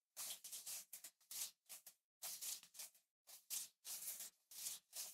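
Fingertips tap and brush the glass back of a small black iPhone SE 3rd generation with an aluminum frame, held upright in the other hand. The result is a quiet, irregular series of short, bright, hissy scratching bursts separated by brief silences, with almost no low end and very little ring after each stroke.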